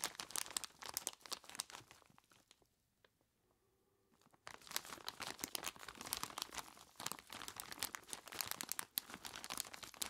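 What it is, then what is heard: Plastic bag of ice cubes. Bare hands grip, squeeze and crinkle a large clear plastic bag, tied at the top and full of ice cubes, so the ice shifts inside. Dense, bright crinkling and crunching fills the clip, falling to near silence for about two seconds in the middle before the rustling and crunching return just as busy.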